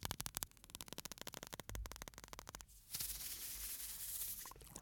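A small clear glass bottle with an aluminium screw cap, full of fine white sand, is held in the fingers close to the microphone, shaken, tilted, and rubbed by the fingers on the glass. Quick, dry clicks and ticks of sand and fingertips against glass come first, then a steady, bright, hissing rush as the sand slides inside the tilted bottle.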